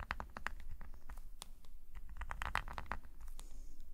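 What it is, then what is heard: Paper scratched by a metal nib pen. A metal nib pen scratches quick, small strokes on a black paper sketchbook page lying flat. Short dry scratches rise from a steady low rumble at an even, quiet level.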